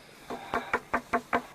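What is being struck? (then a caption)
Buried wooden structure. Knuckle-style knocks on a buried wooden structure with a mortise and tenon joint in a cave produce a quick, evenly spaced series of short, dry, mid-pitched taps that die away almost instantly, with almost no low-end thump. The sound shows the structure is wood, not rock.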